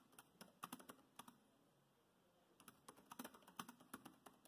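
Fingertips of both hands tap the black plastic chiclet keys of a grey laptop keyboard, producing quiet, dry clicks with bright, short-lived transients. Bursts of typing are separated by a brief pause of about a second in the middle before the tapping resumes.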